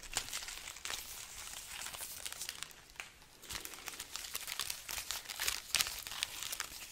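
A hanging garland of dry, hollow red chili peppers is rubbed with fingertips and scratched with long nails. The result is a quiet, continuous crinkling and crackling with bright, dry, papery ticks and almost no low end. The short scratches come in irregular bursts with no ring after each one.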